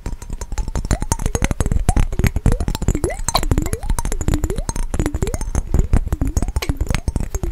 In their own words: 26:40 - fast tapping on mason jar with water